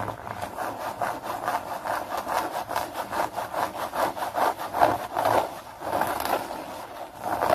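Fingernails scratch and scrunch a blue hex-pattern nylon bag. It makes a continuous run of quick, slightly uneven rasping strokes, about two per second, centred in the midrange with a bright papery edge. The swells rise and fall without pause and end on a louder stroke.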